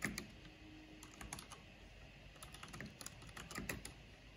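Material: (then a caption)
Plastic. Long painted fingernails and fingertips tap slowly on a full-size black plastic mechanical computer keyboard with a purple backlight and hollow housing. Soft, quiet key clicks and taps come one after another, with a bright clack on top of a low, hollow thud from the housing. Each press dies away almost at once.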